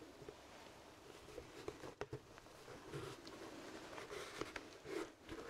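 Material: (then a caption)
Leather. A hollow, empty black leather top hat is held in both hands close to the mic while fingertips and nails tap and scratch its crown and brim. Soft, quiet taps with a hollow, mid-pitched knock mix with dry, papery scratching and rustling. The taps die away almost instantly.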